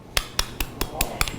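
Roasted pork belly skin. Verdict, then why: Crispy. Six sharp taps on the crackling skin of an all-belly porchetta roast, slow-roasted for about six hours, each giving a brief hard click with a bright crackly top. The dry, hollow taps show the skin has roasted fully crisp.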